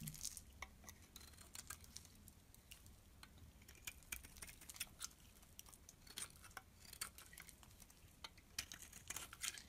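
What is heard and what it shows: A metal blade shaves flakes off the top of a small, solid blue bar of soap held in the hand, while a striped soap lies untouched nearby. The quiet clip is a steady run of short, crisp, bright scraping ticks at an uneven pace over a faint low hum, each cut dying away almost instantly.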